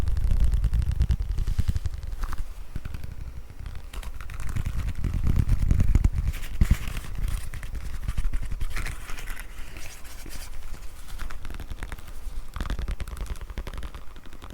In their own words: 03:24-04:39 Tapping and scratching on small leather card-holder